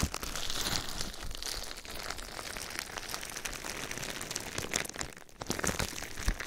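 Clear plastic bubble wrap covering a binaural microphone is gripped, rubbed and scratched with fingertips and nails. A continuous close crinkling and crackling runs throughout, with dense bright scratchy bursts over a low rumble of handling and a brief quieter lull just past five seconds.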